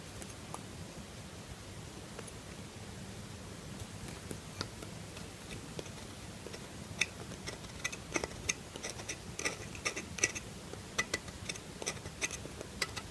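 A solid lilac soap bar, held in one hand, is carved with a metal knife in short scraping strokes. Crisp, bright scrapes and ticks come in quick, irregular bursts that grow denser in the second half, over a faint steady low hum. Each stroke is short and dry, with almost no ring after it.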